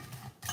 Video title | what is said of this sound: HOW TO MAKE BEST EASY SIMPLE HOMEMADE JAMAICAN CHRISTMAS CAKE WITH BREADCRUMBS, JAMAICAN FRUIT CAKE | very very very crispy not soft